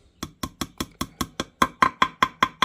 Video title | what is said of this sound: 1998 Yamaha GP800 Engine build | Hear the difference in the sound? That's how you can tell it's down all the way.